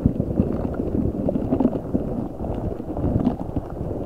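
A large translucent rubber spiky ball filled with gel water beads is squeezed and rubbed with fingertips and nails. The result is a dense, continuous run of low, wet squelching and soft crackling with short popping bursts, staying dull with almost no bright content.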